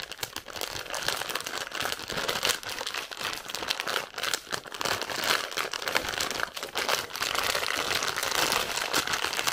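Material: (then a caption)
Plastic. A large, full, clear-and-white plastic bag of big marshmallows is held in both hands and squeezed and crinkled with long painted nails and fingertips. Dense, continuous crinkling and crackling fills the clip, bright and crisp with almost no low end. The sound swells and dips in uneven bursts of rustling.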